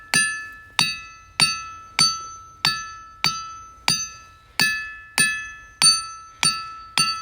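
A hammer strikes a worn boulder twelve times at a steady pace, and each blow gives a bright, bell-like ringing tone with several clear high overtones that fades quickly before the next hit. It rings well, counted among the best-sounding rocks there.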